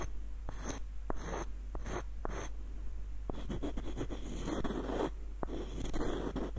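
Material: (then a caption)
Wood. Short nails scratch and trace along a small, hollow, light-wood screw nutcracker with a dark knob and a ribbed screw, moving over both the wooden body and the threads. Dry, raspy scratching strokes come in bursts, broken by brief sharp clicks, over a steady low hum.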